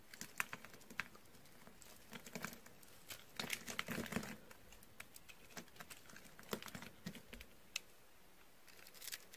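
A purple dry bar soap with a ridged surface, held in the hand, is scored with a utility knife, and fingers crunch and crumble the cut pieces. Many short, dry, crisp clicks and crackles are heard, with bright transients and brief denser bursts of crunching. There is almost no ring after each snap.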